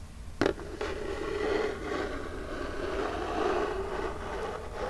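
Long jeweled nails tap twice sharply on the front face of a small, flat, hollow printed Birchbox cardboard box held upright, then scratch across it. The taps give way to a steady, papery scraping rustle with a hollow mid-range tone that swells and fades for the rest of the clip.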